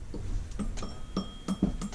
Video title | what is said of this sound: Bad Idler Bearing | a lot of times they'll make like a ting sound